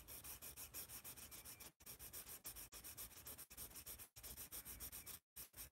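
A yellow wooden pencil shades and scratches with rapid strokes across a large white paper sketch pad held upright. The result is a fast, bright, papery rasping of quick strokes, broken by brief silent pauses.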